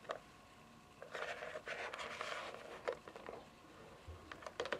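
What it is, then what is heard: Fingernail taps on plastic console casing. Long fingernails tap and drum on the top edge and front face of a hollow white plastic console casing lying on its side on carpet. Sharp, light clicks come with quick, hollow-sounding drumming rolls and a dry, short ring.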